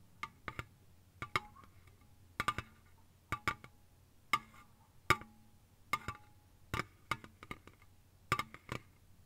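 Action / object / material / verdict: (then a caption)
tap / aluminium drink can / aluminium / none. Quick, light taps with long fingernails on a slim, hollow Lipton green ice tea aluminium can (full or empty not visible) lying on its side on a soft blanket. The taps come in quick clusters of sharp, dry clicks with a brief metallic ping around 1.2 kHz and bright edges, each dying away almost instantly over a faint low hum.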